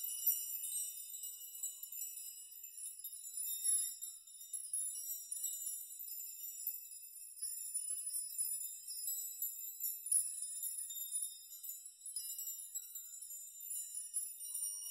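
Fingers sweep and brush through a dense curtain of hanging metal nails in a nail chime, shaking them so they clink against each other. The result is a quiet, continuous shimmer of bright, high metallic tinkling with short rings and no low end.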